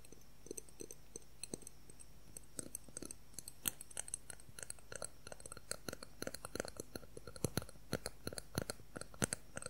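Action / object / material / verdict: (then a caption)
tap / clear plastic ruler / plastic / none. A transparent clear plastic ruler, held horizontally, is tapped rapidly with fingertips and nails. Dozens of quick, dry clicks and ticks come in uneven bursts, each short and bright with almost no ring, over a faint steady low hum.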